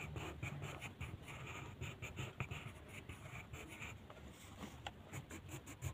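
The tip of a purple colored pencil scratches and rubs across a flat white paper mandala coloring sheet resting on a table in quick coloring strokes. The result is a steady run of soft, dry scratching bursts with bright, hissy grain over a low, dull rumble.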